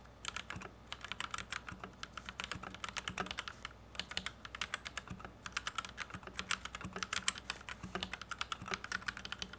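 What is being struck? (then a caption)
Plastic mechanical keyboard. Fingertips of both hands type on a white compact plastic Royal Kludge RK71 mechanical keyboard with Gateron Red switches, resting on a felt desk mat. A fast, steady stream of short, bright clacks fills the clip, broken by brief pauses, over a faint low hum.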